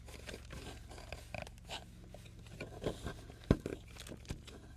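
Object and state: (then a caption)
Plaster excavation block being scraped. A hand holds a solid, crumbly plaster excavation block on a wooden board while a metal palette knife and pick scrape and chip at it. Soft, gritty scraping and small crunches run over a steady low hum, with one sharp, louder crack near the end. Crunchy, crumbling debris breaks away from the block.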